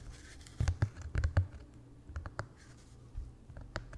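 Fingertips and nails tap and scratch a small white painter's canvas stretched over a wooden frame, hollow behind the fabric. It makes irregular, soft, dull thumps with a low boom, mixed with brief bright scratchy clicks. Each sound dies away almost instantly.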